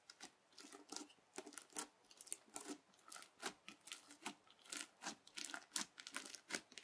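The edge of a yellow plastic knife, pressed under a fingertip, repeatedly pushes into a flat teal crunchy bead slime. It makes a quiet, irregular series of short, bright crunching and crackling bursts with almost no low end, each dying away almost instantly.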